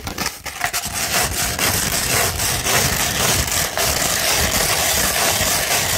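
Long nails scratch a beige 100-grit sandpaper sheet, first held flat and then rolled into a tube. The result is a steady, gritty rasping with a bright, hissy edge, coming in loosely rhythmic strokes with little pause between them.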